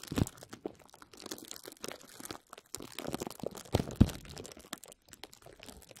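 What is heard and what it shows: A sheet of clear plastic bubble wrap is wrapped around a microphone while both hands grasp, squeeze and crinkle it with the fingers. The result is a dense, irregular stream of close crinkling and crunching, with a few sharper, louder cracks near the start and around the four-second mark.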